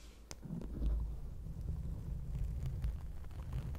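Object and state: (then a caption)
Foam microphone windscreen being scratched. Long acrylic nails scratch and tap on a round grey foam windscreen covering a microphone. The result is a deep, muffled rumble of soft thumps and rubbing, almost entirely low-pitched with no bright edge, swelling after a quiet start and holding steady.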